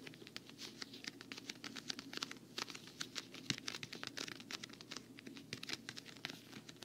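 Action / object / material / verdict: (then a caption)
tap / quilted patent-vinyl travel case / vinyl / none. Long fingernails tap quickly on the quilted surface of a hollow, black quilted patent-vinyl travel case. The result is a dense, steady patter of short, bright clicks with very little low end, each tap dying away almost instantly.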